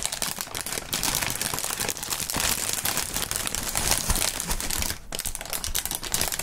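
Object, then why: Plastic air-pillow packing film. Clear, thin plastic air-pillow packing film, partly inflated, is bunched up and crumpled by two hands in fingerless gloves. A dense, continuous crinkling fills the clip, bright and hissy, with small snapping pops as the air cells burst.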